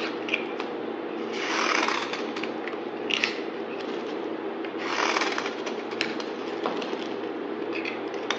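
A solid pink bar soap with heart imprints, held in hand, is shaved with a utility knife blade. Soft scraping strokes rise into two longer, brighter shaving swells, scattered with small crisp clicks and crackles, over a steady low-mid hum.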